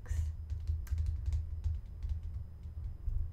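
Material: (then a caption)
Plastic. A medium-size green translucent plastic lotion pump bottle, hollow and apparently filled, is held upright and tapped with fingernails. Quick, light, clicky taps with brief bright ticks come in an irregular run over a steady low hum.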